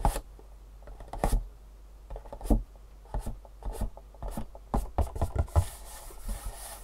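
Long nails rub and scratch across the top and side faces of a long, hollow, printed cardboard shoe insole box. Short, dry scratching strokes and soft taps come in uneven bursts, with a low, hollow body and a quick, dead decay. A faint, bright hiss of steady rubbing lingers near the end.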